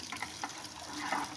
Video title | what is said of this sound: drain water heater | roll it side to side, and you can hear it sloshing inside. What that does is it loosens it up so that we can drain it out